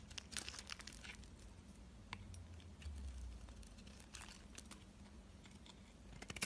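A utility knife blade scrapes along a solid white soap bar held in the hand, curling off thin shavings. The result is a quiet series of dry, crinkly, crunching scrapes with bright edges, set over a steady low hum.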